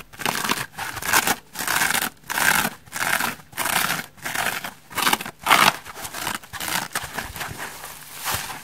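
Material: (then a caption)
Foam. Long red nails and fingertips scratch and squeeze the white textured back side of a dry rainbow foam sponge. The result is a series of bright, crackly scratching bursts separated by short silences, which later blend into a softer, steadier rasp.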